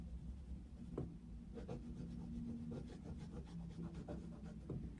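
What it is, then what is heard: Pencil shading on paper. A wooden coloured pencil is rubbed back and forth over a paper colouring book page of a Mickey Mouse picture resting on a desk, making continuous shading strokes. The result is a soft, steady scratchy rasp with a few slightly sharper strokes over a low, constant hum.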